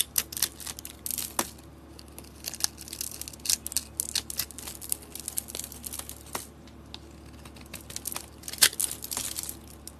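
A rectangular solid soap bar with green dotted paint and a sugary crystal base is scraped with a metal box-cutter blade, exposing orange soap underneath. Dense, bright crackly scraping and crumbly crunches come in quick uneven bursts over a low steady hum.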